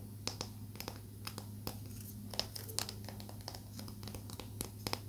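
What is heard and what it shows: A small, solid palo santo wood stick held between the fingers is tapped and scratched with long nails. Sharp, bright clicks and dry scratching ticks come in irregular bursts over a steady low hum, each tap dying away almost instantly.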